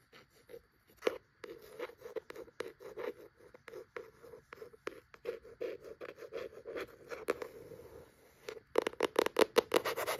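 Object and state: Cloth-bound hardcover book.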